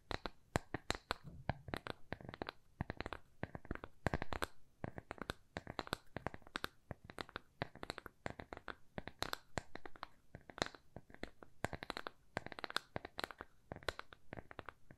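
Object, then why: Thin plywood coaster. A small, thin, solid square plywood coaster with rounded corners, held upright in both hands, is tapped and scratched with long nails. The result is a quick, dense run of dry, short clicks and taps with soft scratchy texture between them, with little ring after each hit.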